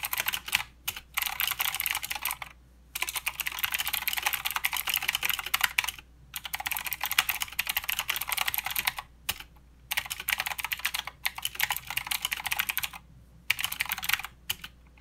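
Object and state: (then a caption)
Plastic mechanical keyboard. Fast, bright clicking comes from both hands typing with their fingertips on a mechanical keyboard with plastic keycaps and blue switches. The crisp keystrokes run in dense bursts separated by short pauses. Each click is sharp and dry with almost no ring, over a faint low hum.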